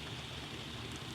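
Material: Nothing is struck.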